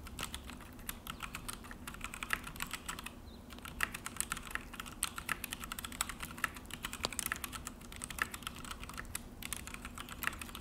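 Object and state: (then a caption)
Plastic mechanical keyboard being typed on. Both hands type continuously with their fingertips on a full-size Akko mechanical keyboard with an orange plastic case and black plastic HyperX keycaps, resting on a desk. The result is a rapid, uneven stream of short, bright plastic clacks and taps with no ring, over a faint low background rumble.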